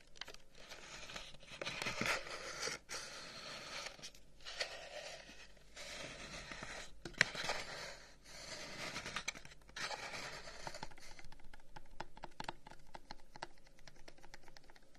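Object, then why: Carved wooden incense box. A long, narrow, hollow wooden incense box with burnt-in flower cutouts is held in one hand and tapped and scratched with the fingertips and nails of the other. Bursts of dry, bright scratching alternate with crisp, short taps that die away almost instantly. The clip ends with a run of quicker, lighter tapping.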